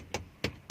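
Three quick, bright knocks on a hard plastic interior trim panel of a 1997 Nissan Cefiro 2.0 V6 Excimo. Each knock is short and dry, dying away almost instantly with little low end. The panel is plastic, as expected.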